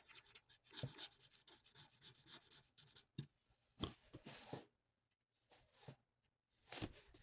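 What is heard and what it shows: The felt nib of a plastic alcohol marker is rubbed in rapid back-and-forth strokes across a thin, flat sheet of printed paper resting on a table, colouring in a mandala. The strokes make soft, dry, bright scratching and rubbing swishes in irregular bursts, with a few brief pauses of near silence between them.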